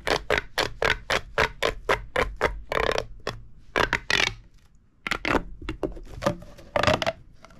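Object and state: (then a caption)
Plastic pop tube toy. A hollow purple corrugated plastic pop tube, held in both hands over a wooden table, is compressed and extended so its ridges click and pop. A quick, even run of sharp, bright clicks gives way to longer ratcheting rasps, a brief lull, then scattered pops with a faint ring around 600 Hz.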